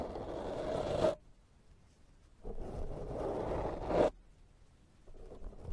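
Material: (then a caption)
Foam. A pink silicone pastry brush sweeps its bristles across a black foam microphone windscreen, making a close, breathy scratching rustle. Two long brushing passes rise and swell before stopping abruptly, with a short, quieter third starting at the end.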